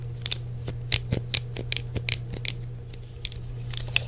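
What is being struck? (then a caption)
Plastic game controller. Fingertips tap across the hollow shell of a hand-sized grey plastic original PlayStation controller and press its buttons. The result is a scattered run of short, sharp, bright plastic clicks and taps that stop almost instantly, heard over a steady low hum.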